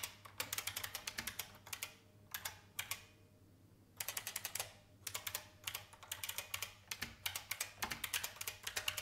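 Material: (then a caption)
Plastic. An old, full-size beige IBM plastic mechanical keyboard with a hollow case is typed on by fingertips with long painted nails. About fifty bright, crisp clacking taps come in quick bursts, with short pauses between them. Each tap is sharp and dies away almost instantly, with little low end.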